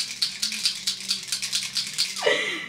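A travel-size plastic setting spray bottle is shaken to mix it, as its label directs, and the mixing balls inside rattle like those in a nail polish bottle. A steady series of bright, sharp clicking rattles repeats evenly, ending in a brief downward swoosh as the sound fades.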